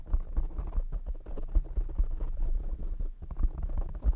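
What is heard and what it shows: Short nails and fingertips of both hands tap rapidly on a soft, hollow-backed black foam windscreen over a large desktop microphone. The result is a dense, continuous patter of deep, muffled thumps and low rumbling booms. Each tap dies away almost instantly, with no bright edge.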